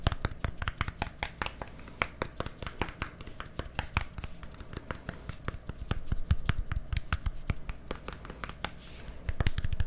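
A small, hollow, white plastic deodorant stick with a green cap is held sideways near a microphone and tapped and scratched with fingertips and nails. Rapid, dry, short taps with a deep low thump and bright clicky edges fill the clip, over a soft scratching bed. The taps grow louder toward the end.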